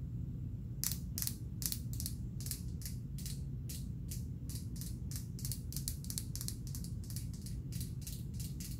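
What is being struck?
Small thick-walled glass perfume bottle.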